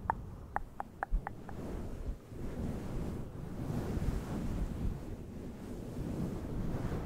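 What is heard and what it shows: A fluffy grey synthetic-fur windscreen over a microphone, soft and fibrous, is rubbed and scratched with the fingertips of both hands throughout. It opens with six short, sharp ticks ringing briefly around 900 Hz, then settles into a continuous deep, rumbling, muffled rustle that swells and eases.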